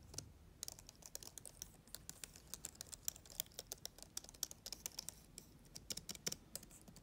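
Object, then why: Plastic laptop keyboard keys. Long-nailed fingers type rapidly on the keys of a black plastic laptop keyboard. About 35 quick, sharp clicks and taps come through bright and crisp, with almost no low end. Each one cuts off instantly against a faint background hiss.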